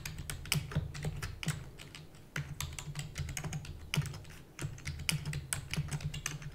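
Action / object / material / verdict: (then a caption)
tap / plastic computer keyboard / plastic / none. Long natural nails and fingertips rapidly type on a full-size black plastic computer keyboard with hollow keys. The result is a dense run of sharp, bright, hollow clicks and taps over a steady low rumble, with very little ring after each keystroke.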